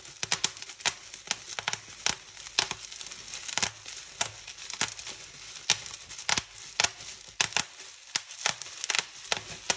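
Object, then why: Plastic bubble wrap sheet. Fingertips and nails pinch and pop the small air bubbles of a clear plastic bubble wrap sheet lying on a white table. An irregular series of sharp, bright snapping pops comes through, each dying away instantly, with a soft crinkling rustle of the plastic between them.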